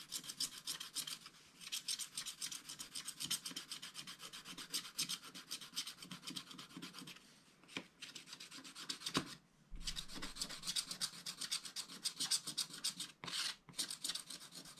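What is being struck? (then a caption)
Wooden stylus on wax-coated scratch art paper. A wooden stylus scrapes the lower background area of a wax-coated scratch art paper page in repeated rubbing strokes. The result is a dense, fast run of bright, high, scratchy rasping with little low end. The strokes stop briefly near 9.5 and 13.5 seconds before resuming.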